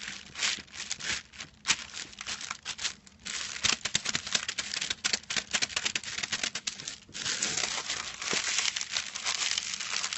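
Fingertips scratch and crinkle the silver foil wrapping of a small, flat rectangular package resting on a white cloth. The result is a dense, continuous stream of bright, crisp crackling and rustling with almost no low end. It gets louder and busier in the second half.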